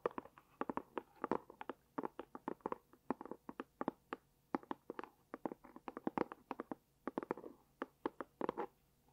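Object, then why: Small cardboard gift box. Long dark-painted nails scratch and tap rapidly on a small, hollow, light pink dotted cardboard gift box held close to the microphone. Dozens of quick, dry, hollow-sounding taps come in irregular bursts with soft scratching between them, and each tap stops almost instantly with no ring.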